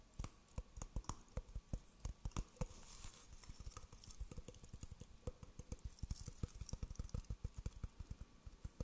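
A hollow, empty, dry coconut shell half with a husky exterior is held beside a fuzzy microphone and tapped with the fingertips on its outer surface. The result is a quick, uneven patter of short, dull, low thuds that die away almost instantly, with a faint bright hiss between taps.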